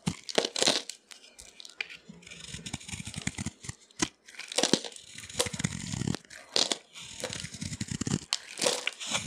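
A yellow utility knife blade carves and scrapes crunchy curls and flakes off a hand-sized, solid orange oval bar of dry soap with an embossed JO logo, held in the palm. Dry, bright crunching and crackling scrapes come in repeated strokes separated by brief pauses, with a low rasp under the bursts.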